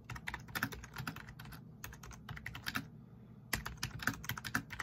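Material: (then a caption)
Plastic. Fingertips of both hands rapidly tap and press the keys of a black plastic backlit RGB membrane keyboard. The result is a fast, uneven run of short, dry plastic clicks and soft thuds. The typing briefly eases into a quieter stretch near the middle before resuming with a sharper burst of keystrokes.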